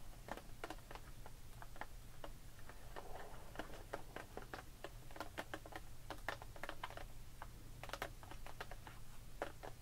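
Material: Plastic.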